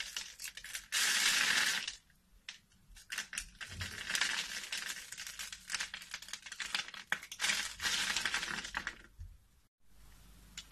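A metal utility knife blade scrapes and cuts a solid rectangular black bar of soap with an embossed logo, held in the hand, slicing it into small cubes that crumble off the edge. Bright, dry scraping and crunchy crumbling come in quick, uneven bursts, with longer sustained scrapes near the start and again toward the end, separated by brief quiet pauses.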